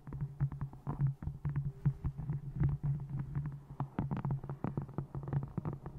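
Long nails tap the top edge of a small, solid, brown faux-leather bound notebook resting on a microphone and scratch its textured cover. The result is a quick, irregular stream of soft, dull taps and brief scratches, heavy in low tones with a steady low hum beneath.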